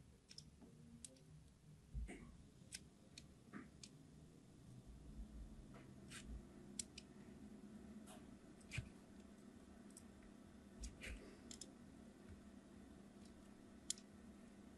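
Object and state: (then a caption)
Glycerin soap bar scored with a knife. A point of a craft knife repeatedly scores a solid red glycerin soap bar held in the palm, cutting a fine line pattern. Quiet, sharp, bright scratchy clicks come at irregular intervals and stop instantly, over a low steady background hum.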